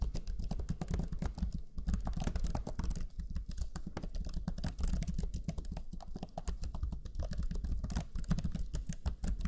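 Fingertips of both hands type rapidly on the black chiclet keyboard of a Lenovo Legion 5 laptop, pressing its low-profile plastic keys. The result is a steady stream of quick, soft, muted taps that are mostly low and thuddy and die away almost instantly.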